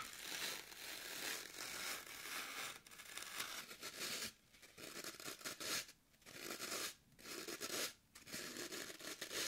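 A solid, porous green floral foam brick, first resting on a table and then held in one hand, has its top scratched and poked by long nails. The result is a steady, bright, dry scratching and crunching texture with almost no low end, broken by several brief quiet gaps in the second half.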